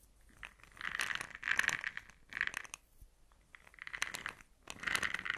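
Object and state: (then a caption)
Plastic jar of pearl beads. A small, round, brown plastic jar, open and full of small, hard blush pearl beads, is held in the hands, shaken and tilted, and tapped with long nails. The beads give repeated bursts of bright, clicky rattling centered around 1.7 kHz with very little low end. Short, quiet pauses fall between the bursts.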